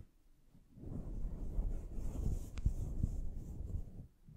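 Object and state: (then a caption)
Fur microphone windscreen being scratched. Both hands with long nails scratch and rub a fluffy synthetic faux fur windscreen covering a studio microphone, fingers raking across the soft fur that sits hollow over the mic capsule. A deep, muffled rumbling scrape swells in after a quiet start and continues unevenly before fading near the end, almost entirely low in tone with no bright content.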